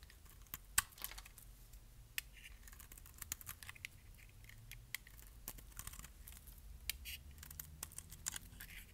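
A metal blade scrapes thin flakes off the surface of a solid pink bar of dry soap. Quiet, dry scraping is broken by many short, sharp crackles and clicks with a bright, high hiss, over a faint low rumble.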